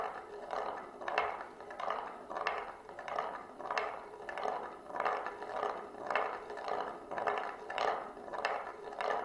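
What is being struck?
Glass marble rolling in the groove of a wooden serving plate.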